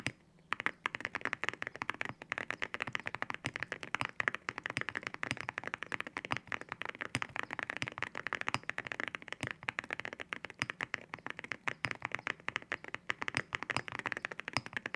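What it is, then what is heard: Mechanical keyboard with ceramic keycaps. Fingertips type continuously on a white mechanical keyboard with ceramic keycaps, producing a rapid, steady stream of short, sharp key-press taps. The clicks are bright and clacky, centered around 1.7 kHz with crisp high detail and very little low end, each dying away almost instantly.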